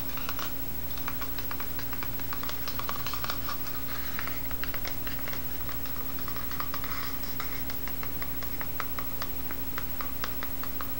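A small grey pocket spiral notebook with a cardboard cover, wire binding and a solid paper block is held in one hand while the fingertips and nails of the other hand tap and scratch its cover. Quick, irregular, crisp clicking taps and light scratches, bright and typing-like, run throughout over a steady low hum.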